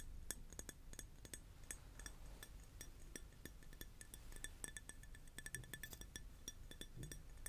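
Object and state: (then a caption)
Glass tapped. A glass object is tapped over and over in quick, uneven bursts, giving light clinking sounds. Each tap is a short, bright tick with faint high ringing partials that die away almost at once, over a steady low background rumble.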